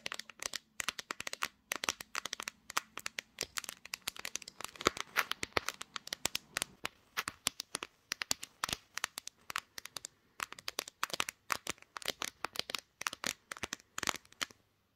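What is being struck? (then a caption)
Glass-backed smartphone. Long green fingernails rapidly tap and scratch the back and camera area of a pink-gradient, glass-backed smartphone held in both hands, which is also doing the recording. The result is a dense stream of sharp, bright clicks with almost no ring or low end, broken by short scratchy passages.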